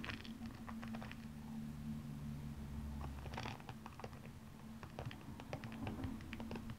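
Long painted nails scratch and tap across the glass-like rhinestones covering the upper of a single blue stiletto shoe, which lies hollow and empty on its side. Quick, light, bright clicks and scratchy ticks come in uneven bursts over a steady low hum.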